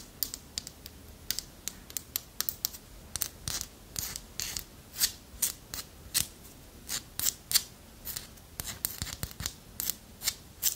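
Long nails scratch and tap across the ridged surface of a small, solid, carved dark wooden segmented figurine. The result is a quick series of bright, crisp scrapes and clicks that die away almost instantly, with very little low end.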